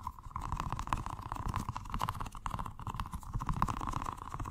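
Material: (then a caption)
Rubber. A small, colorful, squishy rubber stress ball filled with gel water beads is held in the hands and rapidly tapped and squished with the fingertips. This gives a fast, continuous patter of soft, muffled thuds and squelches, with a steady tone near 1 kHz running underneath.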